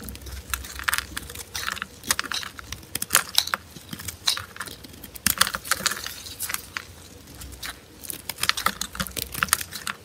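A small metal blade scrapes and carves a large, solid block of dry, cream-colored soap held in purple-gloved hands, shaving off flakes. The result is a rapid series of short, crisp, bright scraping and crackling strokes with very little low end, each dying away almost instantly, with brief quieter pauses between bursts.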